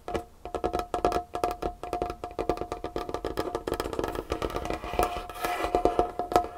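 Long painted fingernails on both hands tap rapidly across a large, solid, dark-stained wooden tabletop. Each tap makes a short, dry, woody click with a hollow tone near 711 Hz. The quick clicks pile into a steady, busy patter that grows denser and brighter toward the end.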